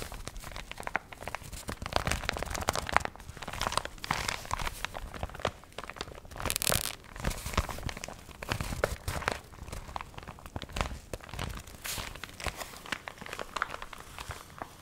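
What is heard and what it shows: A small paper Negroni recipe booklet, wrinkled by water and dried, is held close to the mic while its pages are fanned, squeezed and crinkled with long nails. Dense, dry crinkling and crackling continues throughout in quick broadband bursts, with a louder, brighter rustle near the middle.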